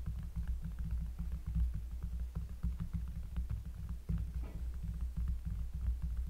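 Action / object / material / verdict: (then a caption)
tap / cork surface / cork / none. Fingers tap rapidly on a cork surface up close, making a steady patter of soft, deep, bassy thumps. Nearly all of the energy sits in a low, throbbing hum around 60 Hz, and each tap dies away almost immediately.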